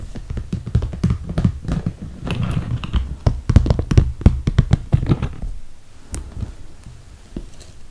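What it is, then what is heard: Clear PVC toiletry bag tapped with nails. Long red nails tap quickly and irregularly on the top and handles of a clear PVC plastic toiletry bag full of cosmetics. The taps are short, dull and low, with a soft plastic crinkle between them. The tapping thins out to a few scattered taps near the end.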